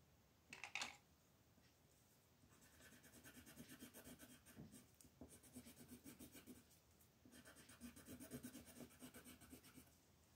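A colored pencil tip rubs short shading strokes across a flat paper coloring page on a table while the other hand holds the page still. A brief, sharper scrape comes first, then after a quiet gap, steady bursts of rapid, dry, bright scratching follow. A short pause breaks the scratching before it resumes until the end.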